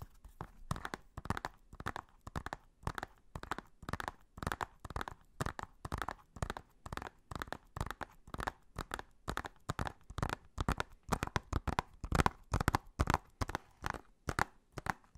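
Fingernails tap and scratch the printed back cover of a hollow blue plastic Blu-ray case. Short, dry, crinkly clicks come in quick irregular clusters, about two per second, with a hollow midrange knock and a soft low thump and almost no ring. The tapping keeps going steadily for the whole clip.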